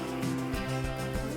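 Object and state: Nothing is struck.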